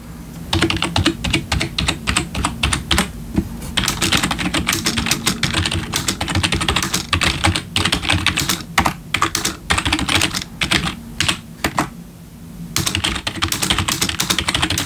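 Bare fingertips of both hands type on a full-size black plastic membrane gaming keyboard with RGB backlit keys resting on a wooden desk. Rapid, bright plastic key taps with a low thud underneath run in dense bursts, with a brief pause near the end before the typing resumes.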